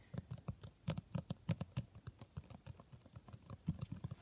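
A quick run of soft, low fingertip taps on a cloth-bound hardcover, each a dull thump that dies at once.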